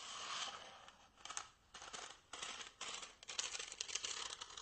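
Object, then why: Small styrofoam block. A small, white, solid styrofoam block is held upright and quickly scratched and tapped with fingernails and fingertips. It gives bright, squeaky friction sounds in short, dry bursts that stop at once with no ring.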